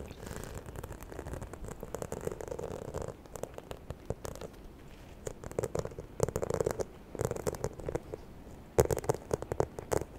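Long nails scratch and tap the textured surface of a small, hollow, white croc-embossed faux leather handbag. Soft, continuous scratching with a midrange hollow tone gives way to bursts of crisp, bright taps and clicks, with sharper strikes near the end.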